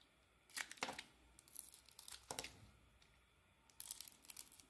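A utility blade scrapes and carves slices off the faces of a solid pale green soap bar with an embossed logo, held in the hand. Short, bright, crisp scraping strokes come in irregular bursts with quiet gaps between them, with a denser run of shaving near the end.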